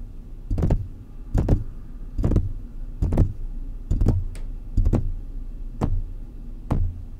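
Fingertips of both hands tap around the hollow wire-mesh grille of a silver metal condenser microphone, making soft, deep, thumping taps in quick pairs and small clusters. Each tap is mostly low boom with a faint bright edge and dies away almost at once over a quiet background.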